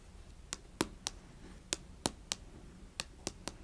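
Long fingernails tap and scratch the front of a small closed cardboard Fitbit Versa 3 watch box resting on carpet, with a hand briefly covering most of the box. Nine sharp, bright clicks ring out at uneven intervals, each dying away almost instantly, over a quiet low background hum.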